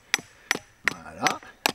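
Five sharp, bright knocks ring out as a hollow, 3D-printed titanium knife handle is struck while batoning the knife through wood, with a brief scraping sound between the third and fourth hits. Each knock is short and dry, centered near 1.9 kHz. The hollow tone is normal: the handle is hollow by design, with a storage compartment closed by a waterproof titanium cap.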